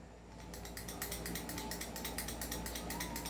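An airsoft pistol whose outer barrel is not fixed is shaken, and the loose barrel rattles, unlike the upgraded 2011 T-Rex, whose fixed outer barrel does not move. A quick, uneven series of bright metallic clicks and clatters, about three per second, plays over a steady low hum. The rattling shows the outer barrel is loose, which is a fault.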